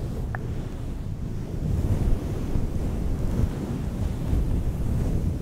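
Long nails scratch and rub a fluffy, soft, hollow grey-green synthetic fur microphone windscreen, switching between one hand and both hands. The result is a steady, muffled, low rumbling rustle that sounds like wind or surf, with almost no high content. A faint brief tone appears near the start.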